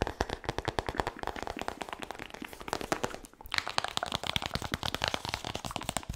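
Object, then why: Hardcover book with laminated cardboard cover. Fingertips and nails rapidly tap and scratch the glossy laminated cardboard cover and edge of a large, solid hardcover book held close to the mic. A dense stream of sharp, dry, crackly clicks with a bright, crisp texture rattles on throughout, with a brief lull just past the midpoint. Each tap dies away almost instantly.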